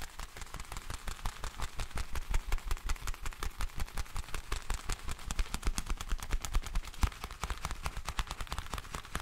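A pair of black leather gloves worn on both hands, with the gloved hands rubbed and pressed against each other. The leather gives a rapid, irregular run of short, sharp creaks and squeaks with a deep low thump under a bright crackle.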